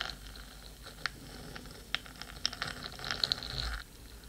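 Long pointed nails scratch and tap the black metal body of a 3Dio microphone while a second hand rests near its ear rim. Sharp, bright clicks and taps stand out over a quiet, continuous scratchy rustle, growing busier toward the end before the texture suddenly drops away.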